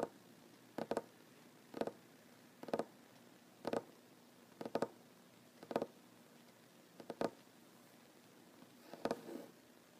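Short fingernails of one ringed hand tap a solid wooden tabletop in quiet, evenly spaced bursts, often as quick double taps. Each tap is a dry, hollow knock centered around 620 Hz that dies away almost instantly over a faint background hiss.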